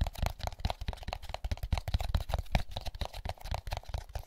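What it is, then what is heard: Empty paper pulp egg carton. Fingertips tap and scratch the egg cups and labelled lid of an empty, hollow molded paper pulp egg carton. The result is a rapid, uneven series of soft, dull, papery taps with thumpy low-end weight and no ring, mixed with light scratchy rustle.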